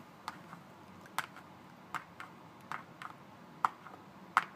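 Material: Paperboard.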